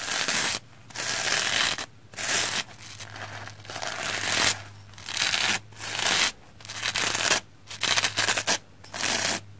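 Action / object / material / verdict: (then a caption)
scrape / soapy plastic foam sponge brushed with a bristle brush / plastic foam / none. A round black-bristle hair brush is swept across a red, porous, soapy plastic foam sponge. It makes bright, hissing, scratchy strokes in bursts separated by short quiet gaps, over a faint steady low hum.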